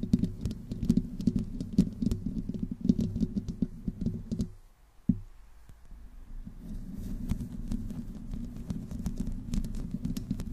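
Long nails scratch the metal mesh head of a black condenser microphone from the top and sides, making a dense, low, rasping scratch with fine bright ticks. The scratching fades to near silence around four and a half seconds. A sharp knock follows, then softer scratching resumes and gradually builds again.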